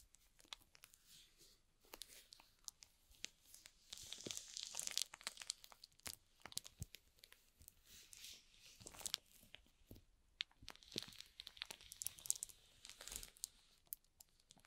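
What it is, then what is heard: Shrink-wrapped cardboard box crinkling. Fingertips rub and press the thin plastic film wrapped over the top of a small, hollow rectangular cardboard product box (F7 mini). The result is a quiet, dense stream of bright, high crinkles and crackles. Louder bursts of rubbing come around 4–5 seconds, near 9 seconds, and again from 11 to 13 seconds.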